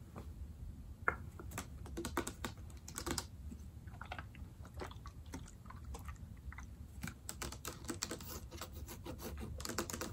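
Long dark-painted nails tap the sides of a medium foaming hand soap bottle, made of yellow/amber plastic with a white pump, held in both hands and appearing full of soap. The result is a quiet, steady stream of quick, dry clicking taps with crisp bright edges that stop almost instantly, over a soft low background rumble.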